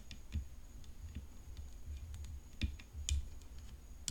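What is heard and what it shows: Long nails tap the hollow composite frame of a rhinestone-decorated tennis racket resting on black cloth. The taps are quiet, short, bright clicks that fade almost instantly, scattered unevenly over a low background rumble and a faint steady high tone.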